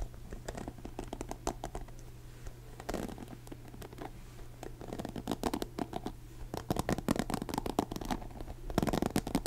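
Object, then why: Plastic paddle hairbrush with plastic pin bristles. Fingertips scratch and flick across the black plastic pin bristles of a blue plastic paddle hairbrush, making dense, rapid crackly clicks and ticks over a steady low hum. The flicks grow busier and louder in the second half, ending in a brighter, stronger burst of scratching.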